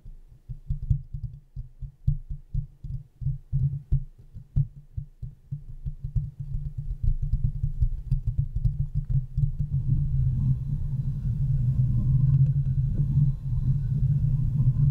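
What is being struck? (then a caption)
Metal mesh microphone grille. Long painted fingernails of both hands scratch and tap the hollow metal mesh head of a large silver USB condenser microphone. At first there are soft, quick, deep thumps. After about ten seconds they build into a dense, louder, continuous scratching rumble that stays almost entirely low.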